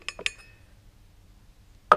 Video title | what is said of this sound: TUTO🔧15 : Remplacement roulement de roue arrière Golf 1/2/3 | quand on est à fond on entend le bling bling c'est qu'on est à fond ça sonne clair